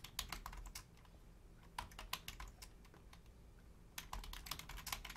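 Two hands with long painted nails and fingertips type on a black plastic Logitech full-size membrane keyboard with a hollow casing, while the mouse stays untouched. Quick, bright clicky keystrokes come in three bursts with short pauses between them over a low steady hum.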